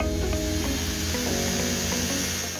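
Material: Nothing is struck.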